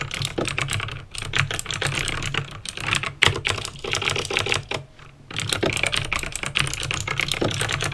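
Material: Plastic.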